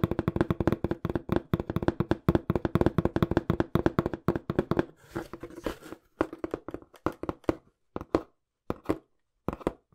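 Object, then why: Small cardboard box. Fingertips tap rapidly on a small, hollow brown cardboard box held close to the microphone, giving dry, hollow thuds with a low-mid tone that die away almost instantly. The tapping is fast and dense for the first five seconds, with a brief scratchy rustle around the five-to-six-second mark. It then thins out into scattered, separated taps with silent gaps.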